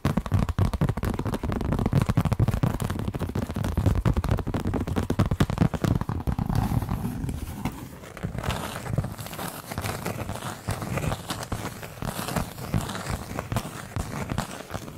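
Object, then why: Cork coaster. Long acrylic nails scratch and tap the rough surface of a large, round, flat, solid cork coaster held up in both hands. A dense, crackling, crinkly scratching sits mostly in the low range, with quick dry taps scattered throughout. It stays fairly loud for about the first eight seconds, then turns softer and sparser.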